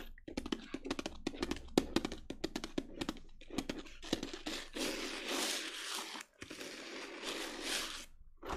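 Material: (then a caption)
Glitter fabric. Long nails tap rapidly on a small, hollow black glitter-coated clutch handbag with a chain handle, giving quick, dry, clicky knocks. They then scratch steadily across the glittery surface, making a bright, gritty rasp that pauses briefly before continuing.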